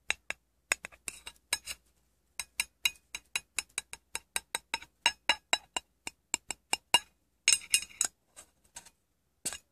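A small, round, silver aluminium tin, hollow and apparently empty, is tapped and handled with painted fingernails and fingertips while its lid is held separately and then brought near the base. Around thirty short, bright, clinking taps come in quick runs, with a brief gap after the first cluster and a denser, rattly patch near the end. Each tap dies away almost instantly, with no low body to the sound.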